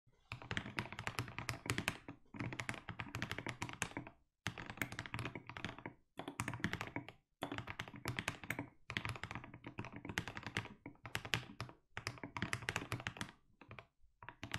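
A compact 60% mechanical keyboard with a white case and blue and grey SA-profile plastic keycaps is typed on continuously with the fingertips of both hands. Rapid bursts of deep, thocky key taps with bright clicky edges come in runs separated by brief pauses, each tap ending almost instantly.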